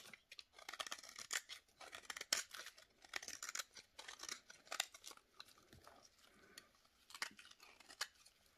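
A utility knife blade scrapes thin curls off the edge of a solid bar of dry yellow soap (Fax and Sunlight) held in a gloved hand over a plate of shavings. The result is a run of quick, dry, bright scraping and crackling strokes with no low end. Each stroke dies away almost instantly.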